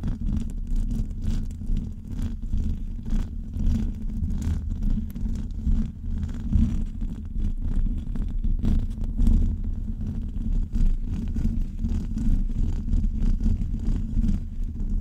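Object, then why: Metal mesh microphone grille. Long acrylic nails on both hands scratch continuously across the hollow metal mesh grille of a large USB microphone. The result is a dense, low, boomy rumble of rapid rubbing strokes centered around 74 Hz, with almost nothing in the highs. The level stays fairly steady with small, quick swells throughout.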